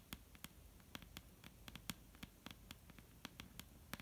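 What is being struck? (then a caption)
Wooden table top. A solid dark brown wooden table top is tapped with the long painted nails of both hands. About nineteen quiet, quick taps come in an irregular rhythm, each a bright click with a low woody knock that dies away almost at once, over a faint steady hiss.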